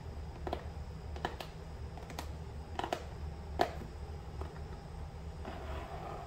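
Fingertips and nails tap and scratch the top edge and front of a small, hollow, upright cardboard box, giving quiet, short, hollow clicks with a tone around 700 Hz over a steady low hum. The box is then tipped onto its side, ending in a soft, dull scrape.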